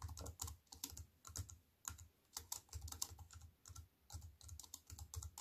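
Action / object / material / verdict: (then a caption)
tap / compact keyboard with plastic keys / plastic / none. Fingertips with white-painted nails type on a slim wireless keyboard with black plastic keys in a grey metal-look frame, lying on a wooden table. Quick, bright, clicky keystrokes with a soft low thud come in rapid bursts separated by brief pauses, each tap dying away almost instantly.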